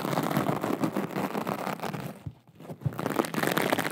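Long acrylic nails scratch and tap a small, soft, flexible aqua rhinestone mesh pouch, making a dense, crinkly scratching with quick clicky taps. The sound drops to a brief near-silence just before the middle, then the busy scratching resumes.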